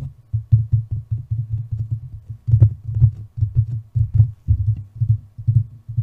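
A hand with long painted nails rubs, taps and scratches the casing of a large white metal desktop condenser USB microphone with a hollow body, mounted on a stand. The result is a rapid run of dull, low thumps and brushing strokes centered around 110 Hz, with almost nothing above the low range and very short decay.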